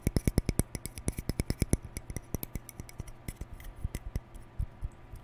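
Fingertips and nails scratch and flick the white plastic bristles of a hand-sized, hollow plastic round hair brush with a lilac cap, held in both hands close in front of the mic. The result is a rapid run of sharp, dry plastic clicks, fast and evenly paced at first, then sparser, with brief bright ticks over a soft low thud on each flick and light scratching between them.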